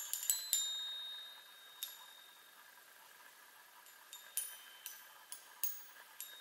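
Long fingernails tap the hollow metal tubes of a small handheld chime on a wooden frame, ten light strikes in all. A quick cluster of taps opens the clip, then a pause, then spaced taps near the end. Each gives a quiet, bright, high ringing tone that fades fast.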